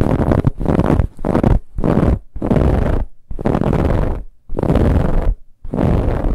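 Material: Fabric.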